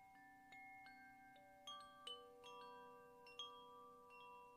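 A medium-sized bamboo koshi wind chime, a hollow bamboo tube hung from a cord held in one hand, is shaken so the rods inside strike against each other. It gives several soft, bright, bell-like strikes whose clear tones overlap and ring on for about a second, building a gentle, shimmering wash of chiming notes.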